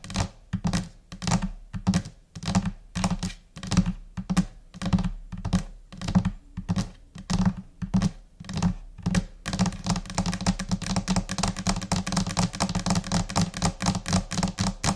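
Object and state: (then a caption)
Laminate desk top. Long painted nails on both hands tap across a large, flat white desk top, likely laminated particleboard. Scattered, uneven taps give short, dull low thuds with a faint bright click. After about nine seconds, the tapping turns into a fast, dense, chaotic patter.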